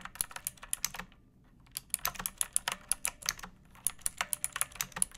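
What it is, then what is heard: Plastic mechanical keyboard. Long painted nails and fingertips type on a pink plastic mechanical keyboard with round backlit keycaps and a hollow body resting on a wooden surface. Quick, bright clicky keystrokes come in steady bursts, with a brief pause near the one-second mark before the typing resumes. Each tap is short and dry, with almost no ring.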